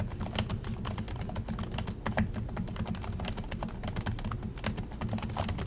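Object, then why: Plastic laptop keyboard keys. Both hands type continuously with their fingertips on the plastic chiclet keys of an Acer laptop keyboard. A fast, uneven stream of short, bright plastic taps and clicks runs over a steady low hum.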